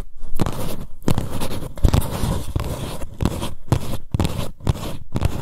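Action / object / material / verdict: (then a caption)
scrape / paper cup / paper / none. Long nails scratch and grip the paper wall of an empty green paper cup held sideways. Repeated rough, crackly scraping bursts come in quick strokes separated by brief pauses, with most of the energy in a dull low rumble.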